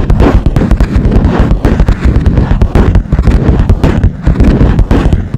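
Long nails tap fast across the smooth, hard top of a cream plastic lap desk. The quick, uneven taps give dull, low knocks with sharp clicks on top, each dying away almost at once.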